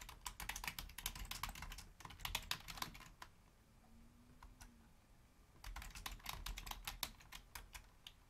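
Long painted nails and fingertips type rapidly on a black Logitech plastic keyboard resting on a wooden desk, making bright, crisp clicking keystrokes. The typing runs for about three seconds, then pauses for roughly two seconds while a faint low hum is heard. The quick clicks then resume until the end.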